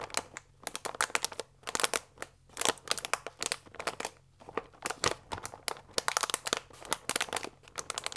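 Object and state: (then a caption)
Paper pasta bag with plastic window. A full paper fusilli bag with a plastic window, lying flat, is rubbed and scratched with fingers and nails. The result is a rapid run of dry, bright crinkles and crunchy scratches with no ring after each one and almost nothing in the low end.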